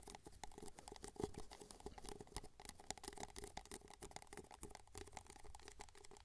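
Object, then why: Paper cup. An empty white paper cup, small and hollow, is held tilted near the mic while fingertips and nails tap and scratch its base and sides. The result is a quiet, rapid patter of dry clicks and light scratching, each tap dying away at once, over a steady hollow tone near 400 Hz.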